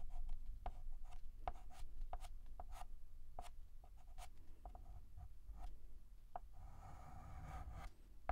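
A hand draws the curved outline of a letter R with a stick of white chalk on a large, flat, black painted blackboard. Short, dry chalk ticks and scratches sit over a steady low rumble, ending in a longer, brighter scraping stroke near the end.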